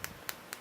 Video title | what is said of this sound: B57 Smartwatch unboxing and review ( blood pressure watch ) | the display here is not glass but it actually is plastic as you can hear if you tap it it really sounds like plastic